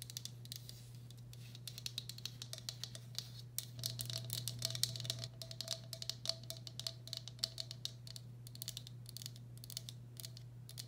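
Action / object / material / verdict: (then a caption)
tap / glazed ceramic bowl / ceramic / none. Long black acrylic nails tap and scratch the outer wall of a medium, hollow, empty turquoise speckled glazed ceramic bowl. The result is a rapid, irregular stream of sharp, bright clicks with very short ring and soft scraping, over a steady low hum, with a brief thicker scratching stretch around the middle.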